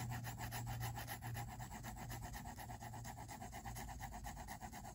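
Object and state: Pencil shading on sketchbook paper.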